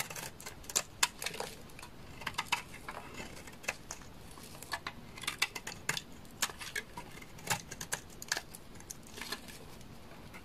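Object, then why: Bar of laundry soap scraped with a knife. A solid, dry, beige bar of laundry soap is held in the hand and scraped with a utility knife, shaving it into curls. The result is an irregular run of quick, crisp, bright scratching and crackling bursts that die away almost instantly, over a quiet, steady hiss.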